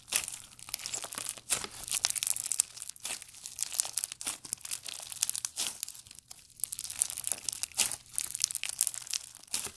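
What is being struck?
Clear slime with plastic beads.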